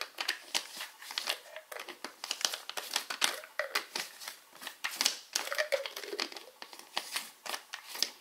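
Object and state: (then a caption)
Plastic pill bottle cap. Fingertips and short nails tap and scratch the plastic cap of a small white plastic Alive vitamin bottle. The result is a rapid, uneven series of short, bright clicks and crinkly scratches with no low end, each dying away almost at once.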